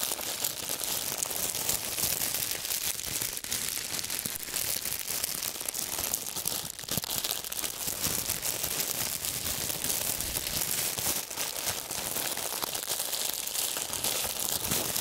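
Thin, clear plastic wrap is bunched and crinkled between gloved fingers held close to the microphones. It makes a dense, continuous stream of bright, crackly rustling at a steady level, with almost no low end.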